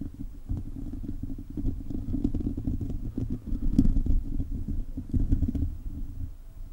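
A hollow silver metal mesh microphone grille is scratched steadily with the fingertips and short nails of both hands. This produces a continuous, dense, low rumbling scrape with quick rough pulses and a brief brighter tick partway through, while almost no high sound comes through.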